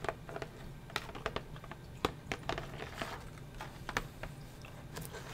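Fingernails tap and scratch along the edge and clear plastic window of a flat cardboard sketching-set box. The result is a quick, irregular run of short, dry clicks mixed with soft scratching over a faint steady low hum.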